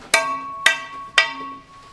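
A steel scaling bar taps a mine rock face after blasting, three sharp, bright metallic strikes that ring briefly with clear high tones. The crisp, solid ring marks the rock as good, sound rock.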